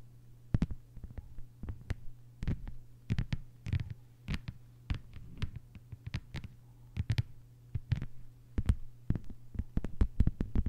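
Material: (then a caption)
Plastic. Long white-polished fingernails of both hands tap a thin, solid, flat lime-green plastic cutting mat lying on a table. The result is a quick, irregular run of short, dry clicks and soft low thuds that stop instantly with no ring, over a steady low hum.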